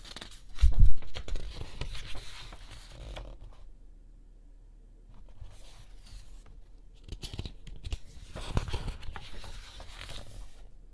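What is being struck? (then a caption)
Art book with thick glossy paper pages. A large art book with thick glossy pages lies open on a checked cushion while fingertips and a palm flatten the pages and slowly turn them. The paper bends and slides with soft rustling and crinkling swishes. Louder bursts come near the start and again toward the end, with a quiet lull in the middle.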